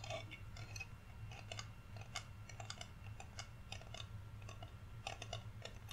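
Fingernails tap the surface of a flat, solid, painted wooden Rudolph reindeer cutout held in both hands. The result is a steady run of quick, dry clicks with bright, short ticks over a constant low hum.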